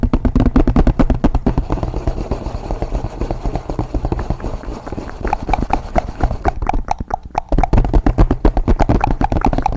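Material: Cardboard.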